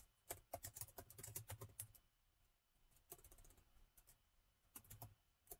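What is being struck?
Plastic laptop keyboard keys.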